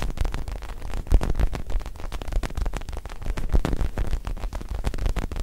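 A small black-and-white mini soccer ball, possibly foam or synthetic leather, is held in front of the face and rubbed and scratched with the fingertips. The result is a dense, continuous run of close, crackling scratches and soft thuds, heavy in the low end, with a brief louder bump around the one-second mark.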